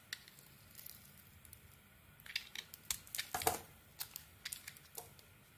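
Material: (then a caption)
Soap. A solid red-and-cream bar of soap, held in the hand, is carved by scraping thin shavings off it with a metal blade. Quiet, bright, crisp scrapes and crackles come in short irregular strokes over a faint hiss, with no low rumble and almost no ring after each stroke.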